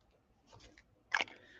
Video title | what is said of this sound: Let's Color- Where the Wildflowers Grow- inktense watercolor and prismacolor pencils | you hear that little bally thing in there rolling around